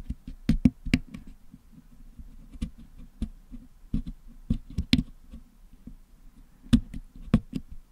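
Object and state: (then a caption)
Putty-covered metal microphone grille. A wooden toothpick picks at the hollow metal mesh dome of a Blue Yeti microphone packed with blue and yellow putty, cleaning the putty out of the grille. Sharp, dry clicks and ticks with bright edges stand out over a steady low, muffled scratching. Each tap dies away almost instantly.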